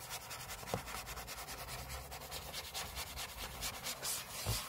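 Short fingernails scratch the aluminium lid of a closed space-grey MacBook lying flat on a table. The sound is a close, dry, raspy scratching in quick, uneven strokes, bright and hissy, with a couple of slightly louder scrapes.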